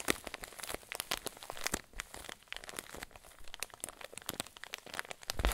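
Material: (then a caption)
Plastic. A clear plastic zip bag full of white fluffy filling is pressed and squeezed with fingers and thumbs. The result is a steady run of soft, dry crinkles and crackles with short, bright snaps that stop quickly, rising to a louder crunch at the very end.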